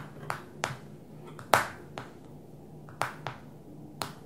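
A long nail or fingertip taps seven times on the glass touchscreen of a small black smartphone lying flat on a glossy table. Each tap is a sharp, bright click that dies away almost at once, spaced irregularly over a faint, steady low hum.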